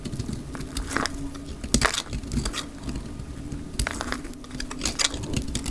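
A hand-held, solid, rectangular, pale cream dry soap bar is shaved with a snap-off utility knife blade, its curling flakes piling onto a grey cloth. The sped-up clip carries a run of dry, crackling scrapes with bright bursts over a steady low hum.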